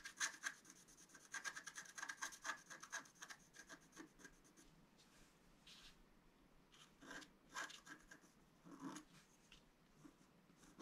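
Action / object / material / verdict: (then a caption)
scrape / scratch-art card scratched with a wooden stylus / coated paper / none. A wooden stylus scratches strokes into the upper area of a flat, black-coated scratch-art card lying on a table. For the first few seconds, quick, dense, bright raspy strokes follow one another closely. The scratching then thins to softer, scattered strokes with brief pauses.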